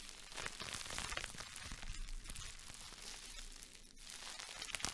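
A small wad of clear plastic bubble wrap is held in the hands, squeezed and crinkled, and its bubbles are popped with the fingertips. The result is a soft, steady stream of bright crinkling and crackling, dotted with sharp little pops over a faint low rumble.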